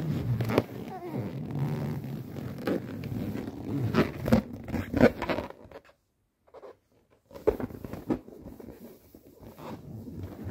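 A palm and fingertips rub an inflated, tied yellow latex balloon, hollow and air-filled, making squeaky friction sounds with sharp squeaks over a low rubbing rumble. The rubbing goes nearly silent for about a second midway, then resumes with more squeaks and softer rubbing.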